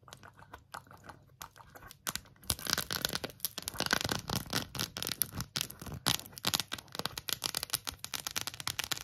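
Long acrylic nails tap and scratch quickly over an empty rainbow 3D silicone phone case with colorful raised hearts. The first two seconds bring sparse, soft clicks. After that the sound turns into a dense, bright stream of sharp taps and scratchy rasps.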